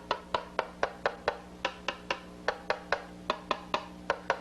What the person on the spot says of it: if we tap the back in various points the sound that is generated differs depending upon where you drive it